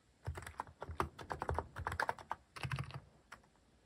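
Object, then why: Plastic mechanical keyboard. Fingertips type on a plastic mechanical keyboard with a white plastic case and cat-shaped plastic keycaps. Quick runs of short keystrokes give deep, muted thocks with a lighter clack in the mid range. Each press dies away almost at once, with brief pauses between bursts before a last lone tap.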